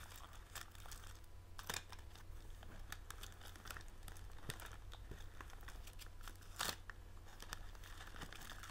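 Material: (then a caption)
Plastic film. Fingertips rub, scratch and crinkle a blue printed plastic film bag of tealights held in the hands. Soft, continuous crinkling and scratching sits over a steady low hum, with brief, brighter bursts of crackling near 1.7 and 6.6 seconds.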